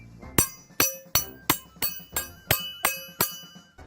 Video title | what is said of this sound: Sonidos de casa | también se oirá más fuerte que si los golpeo así